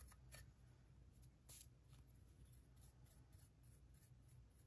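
A wooden pick scrapes and scratches at a solid plaster dig block around the embedded gems, loosening visible plaster dust. Quiet, bright scratchy strokes come in short bursts over a steady low hum, with two slightly louder scrapes near the start.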